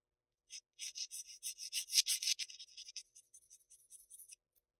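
A graphite pencil rubs back and forth on a flat sheet of Bristol paper, shading a rectangular area. Quick, dry, scratchy strokes in a bright, high hiss swell louder toward the middle, then thin into lighter, sparser strokes before stopping.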